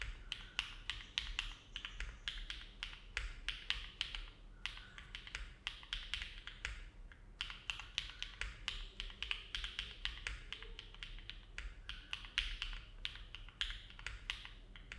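Both hands' fingertips type continuously on a compact Neo70 mechanical keyboard with an aluminum plate, foam dampening and dark GMK plastic keycaps, resting on a desk mat. A steady, quick stream of short, crisp clacks with a bright ring peaking near 3 kHz dies away almost instantly, over a soft low rumble. Brief pauses near 4.5 and 7.5 seconds break the rhythm before typing resumes.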